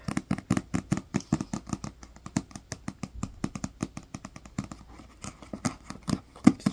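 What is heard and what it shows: A thick paperback dictionary with a green cover and paper page block is held in the hands while fingertips and nails tap and scratch on its cover. Dozens of quick, dry taps follow one another across the clip, each short and dull with a low body and a brief bright papery edge, and a faint scratching texture sits between them.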